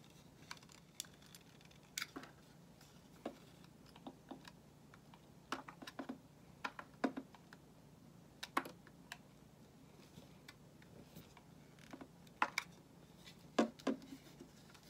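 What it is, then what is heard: Bar soap being carved. A solid white bar of soap held in the hand is carved with a metal utility knife blade, giving quiet, short, crisp clicks and light scraping cuts at an irregular pace. The sharp ticks stop almost instantly and are spread across a faint, steady low hum.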